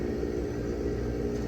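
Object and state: Nothing is struck.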